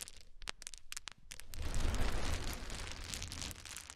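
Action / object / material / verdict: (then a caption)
drop / small wooden cubes / wood / none. A pile of many small solid wooden cube chips is poured from the hands and then raked with the fingers. Scattered sharp, bright clicks come first, then a dense clattering rattle with a low rumble swells around the two-second mark and continues until the end.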